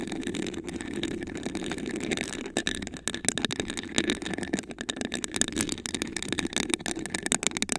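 Long acrylic nails scratch and tap a tall, hollow, iridescent glass vase with a raised honeycomb pattern, apparently empty and held in both hands. A steady, rasping scratch over the textured glass gives way after about two and a half seconds to rapid, dense clicks and taps with a bright edge and a mid-toned glassy body. Each tap dies away almost instantly.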